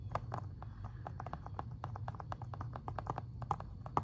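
Fingernails tap and scratch the front plastic cover of an Xbox 360 game case. Quick, dry clicks around 800 Hz come in rapid succession and die away almost instantly, over a steady low hum. The result is a continuous stream of light, crisp plastic ticks with no lingering ring.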